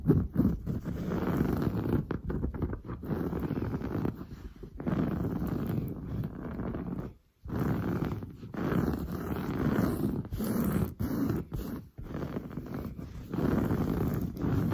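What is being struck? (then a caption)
Padded woven fabric sofa upholstery. Long blue nails scratch fast and hard across padded, grey-brown textured woven sofa fabric. The result is a dense, continuous rasping scrape, heavy in the low end and muffled in the highs, broken by brief pauses including a near-silent gap around the middle.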